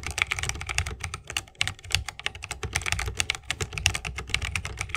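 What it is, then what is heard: Mechanical keyboard with bamboo case. Continuous two-handed fingertip typing on a 60% mechanical keyboard with Holy Panda switches, a bamboo case and plastic keycaps. Rapid, overlapping keystrokes give bright, crisp clacks over a low, rounded thock, each dying away almost instantly.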